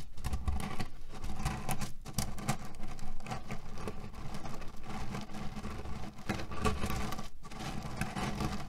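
Flat hands press and rub a small square cotton cushion filled with cherry pits, grinding the pits against each other inside. The result is a steady, dense, low-pitched crunching and rattling patter. It has only brief dips in loudness throughout.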